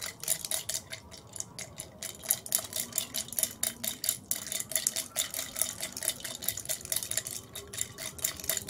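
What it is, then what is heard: Glass tumbler with ice. Long red nails tap and scratch a tall clear glass tumbler holding ice and a little purple-tinted liquid, resting on a white plate and tilted as it is played. Rapid, irregular bright ticks and clicks mix with clinking ice and a dry, hissy scratch, each tap dying away almost at once.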